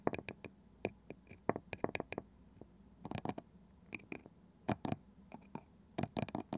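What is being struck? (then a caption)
Small round wooden box with woven side. Long nails tap and scratch across the pale wooden lid and edge of a small, palm-sized round wooden box with a woven side. The result is a quiet, irregular run of short, dry clicks and taps that die away almost instantly, with soft scratchy rasps in between and a low steady hum underneath.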